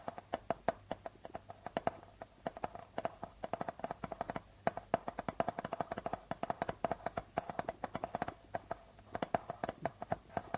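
Curled fingertips and short nails tap and scratch quickly across the plastic head of a hollow darbuka drum. The result is a steady stream of short, dry taps with a faint tone around 680 Hz, separated by soft scratching.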